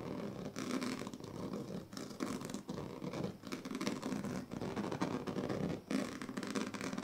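The teeth of a pink plastic comb are dragged across the strips of a large, flat woven plastic sleeping mat. The result is a continuous run of dry, rasping scratching strokes with a papery, mid-heavy texture, broken by short pauses between passes.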